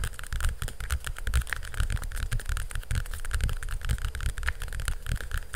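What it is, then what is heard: Hardcover cardboard book. Fingernails quickly scratch and rub across the cover of a hardcover cardboard picture book. The result is a dense, continuous stream of scraping and rubbing with soft low thumps throughout and a faint brighter rasp on top, steady in level for the whole clip.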